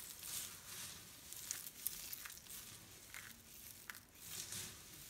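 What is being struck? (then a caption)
Pile of soap flakes. A spread-out pile of dry pastel soap shavings is pressed with flat palms, squeezed in fists and raked with fingertips. It makes a quiet, bright, dry crinkling and crunching, with a few sharper crackles standing out from the steady rustle.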